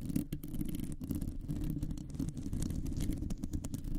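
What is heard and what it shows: Long nails on both hands scratch a round, hollow metal mesh microphone grille. The result is a dense, continuous scratching rumble, heavy in the low end with a muffled tone around 270 Hz. Quick, brighter scrapes flicker through it.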